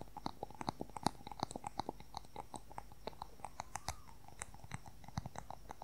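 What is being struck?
Wooden colour pencil.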